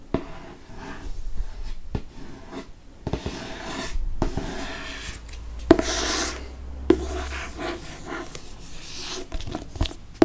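Fingernails scratch and trace across the glossy cardboard cover of a hardcover Harry Potter book with a flying car on the cover. Soft, continuous rubbing and scraping is broken by several sharp, short taps. Some brighter hissy scratches stand out.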